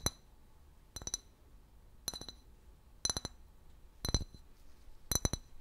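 Long fingernails tap a large, empty, hollow clear glass liquor bottle with a paper label. Six short bursts of quick clicking taps land about once per second, each giving a bright, glassy clink with high ringing tones that fade almost at once.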